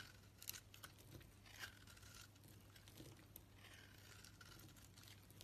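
A utility blade scrapes and shaves curls off a solid pink soap bar with a purple edge, held in the palm. Soft, dry scraping and crinkly shaving strokes with bright, hissy edges sit over a steady low hum, with a few sharper ticks along the way. The sound is quiet and close.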